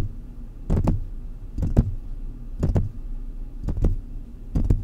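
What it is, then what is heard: Metal condenser microphone grille tapped. Fingertips of both hands tap the mesh grille of a large silver metal USB condenser desktop microphone on a stand, picked up directly by the mic being struck. Five evenly spaced bursts of quick double taps come through as dull, deep thuds with a short bright click on top, each dying out almost instantly over a steady low background hum.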